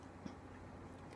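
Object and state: Nothing is struck.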